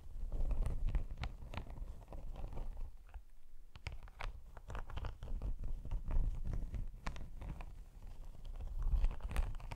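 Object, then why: Padded faux leather laptop sleeve with textured scales. Long acrylic nails scratch and tap the textured scales of a padded, iridescent holographic faux leather laptop sleeve with a snakeskin texture, held close in front of the mic. A steady, crackly scratching is heard, broken by short, sharp taps and bright clicks. It carries a heavy low rumble throughout and briefly thins out around three seconds in.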